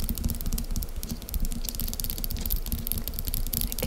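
Long acrylic nail tips tap quickly from both sides on a small, solid, upright lump of cream-colored soft wax paste standing on a table. The result is a rapid, steady run of dull, low thuds around 74 Hz that stop almost instantly, with faint clicky ticks above.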